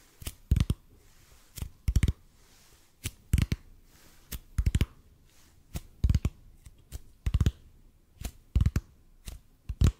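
Fingertips tap slowly on a large, hollow, red-and-white EPP bead foam roller held horizontally above the microphone. The taps come in irregular clusters of two to four, about 26 in all, each a short, dull, low thud that dies away almost instantly, with quiet gaps between.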